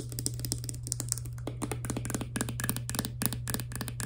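Long nails tap rapidly on a small, hollow, clear plastic Fructis hair serum pump bottle, first on the bottle body and then on its green plastic pump head. The result is a fast stream of light, dry, clicky taps with bright edges and almost no ring, over a steady low hum.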